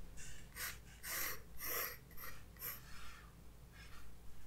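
A graphite pencil tip is drawn across the white paper page of a spiral-bound sketchbook lying flat on a wooden desk, with the other hand holding the book. Light sketching strokes make soft, bright scratching and rubbing bursts that rise and fade over a low, steady hum.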